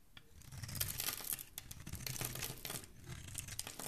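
A solid, hand-sized green Palmolive soap bar held in one hand is shaved with a thin dark metal blade, scraping off curls and flakes of soap. Dense, bright scraping and crinkling strokes come in irregular bursts over a low rumble.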